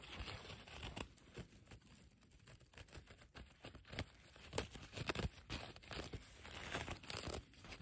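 Fingertips and long nails scratch, rub and pluck the fibres along the frayed, torn edge of a large, thin blue woven polyethylene tarp hanging on a metal frame. The result is quiet, dry crinkling and rustling broken by irregular, sharp tearing-like plucks that stop almost instantly.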